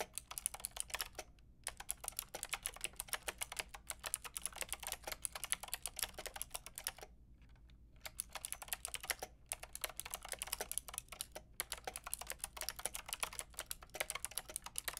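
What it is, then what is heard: Plastic mechanical keyboard being typed on. Long painted nails and fingertips tap away at a white-pink backlit mechanical keyboard with round plastic keycaps. Rapid, bright plastic clicks and clacks fill the clip, each one dying almost instantly, with brief pauses near the start and a longer gap around the middle. A low, steady hum sits underneath throughout.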